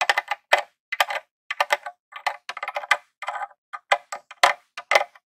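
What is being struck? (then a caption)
Plastic game console casing. A metal claw nail taps and scratches in and around the controller port on the front face of a grey plastic Nintendo mini console. Quick, irregular clusters of dry clicks and short scrapes are heard, bright and thin with no low end and almost no ring after each touch.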